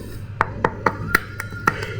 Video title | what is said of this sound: Tutup head mesin Vario 2019 ke atas terbuat dari plastik, apa mungkin bisa merembet ke part lain? | setelah saya ketuk seperti ini, ternyata ini plastik, Bro. Terbuat dari plastik serat tahan panas.